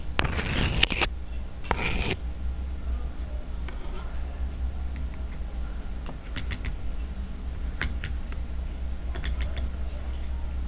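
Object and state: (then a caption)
Silicone pop-it fidget toy tapped with a marker. A flat, hand-sized rainbow silicone unicorn pop-it fidget toy with hollow bubble domes lies on a table and is tapped and poked on its bubbles with the tip of a yellow plastic marker. Two dense, noisy bursts come first, followed by sparse, sharp, short clicks. A steady low hum runs underneath throughout.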